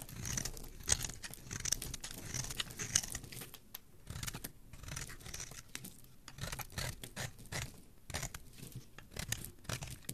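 A hand-sized solid red bar of soap, held in one hand, is scraped and shaved along its edge with a metal blade, sending curls of soap onto the surface below. Dense, quiet bursts of bright, crisp scraping and crackling shavings repeat throughout, over a soft low rumble, with no ring after each stroke.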